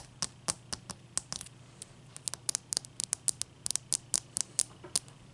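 Long fingernails tap and scratch the sides and top of a single solid, clear ice block resting on a towel. About 22 quick, bright, dry clicks with almost no ring sound over a quiet, steady low hum.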